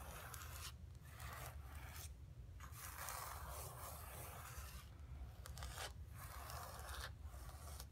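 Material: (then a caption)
Canvas. Long fingernails scratch and rub across the surface of a flat painted canvas board resting on carpet. Steady, raspy strokes rise and fall in bright, scratchy bursts separated by brief quieter pauses, over a constant low hum.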